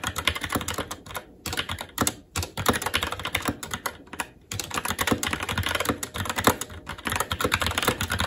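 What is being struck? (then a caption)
Mechanical keyboard with plastic keycaps on a metal plate. Fingertips of both hands type continuously and rapidly on a SteelSeries Apex 7 TKL mechanical keyboard with red linear switches, black plastic keycaps and an aluminum plate. A dense stream of quick, sharp clacks with a bright edge and a slight low thump rolls on, with brief pauses before the typing resumes.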